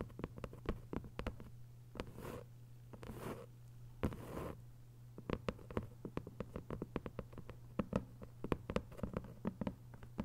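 A thick hardcover paper novel with a paper dust jacket is tapped on its cover and scratched at its edges with long white nails. Many sharp, dry taps with very short ring sound over a low steady hum, broken by a few softer, drawn-out scratching bursts.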